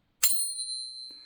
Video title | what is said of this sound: Sigma whole stack testing results. | See that lovely long ring?